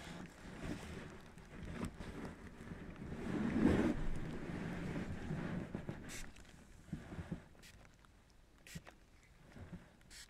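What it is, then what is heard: Plastic bubble wrap. Fingertips rub and handle a sheet of thin, air-filled, large-bubble clear plastic bubble wrap held flat over a lens, producing a soft, low crinkling rustle. The rustle swells to its loudest around the middle, then fades to quieter rubbing broken by a few sharp, bright crackles near the end.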